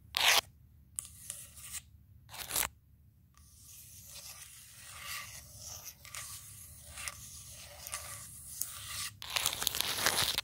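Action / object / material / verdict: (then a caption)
scrape / wooden tabletop / wood / none. Long pointed nails on the fingertips of both hands scratch and tap the surface of a large, round, solid wooden table slab. Brief, bright taps and short scratches broken by silent gaps open the clip, then give way to a steady, hissy scratching that builds into a louder, denser scrape at the end.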